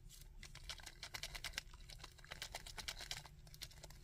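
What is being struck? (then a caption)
Small painted hard plastic action figure. Fingertips and nails tap and scratch the head, back and legs of a small, chunky, painted hard-plastic Sandman action figure. A quick, uneven run of sharp, bright clicks and scrapes dies away almost instantly, over a steady low rumble.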